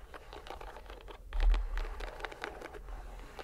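A fist-sized, soft green rubber squishy stress ball in a white string net is squeezed and released in one hand by the fingers and palm. It makes quiet, continuous crinkly, scratchy patter over a low rumble, with a louder squish swelling up around the middle of the clip.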